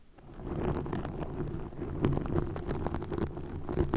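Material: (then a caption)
Plastic. Long nails scratch green plastic mesh netting stretched over a microphone. The result is a dense, continuous, low, rumbling crackle with small scratchy pops throughout, fading in at the start and then holding at a steady level.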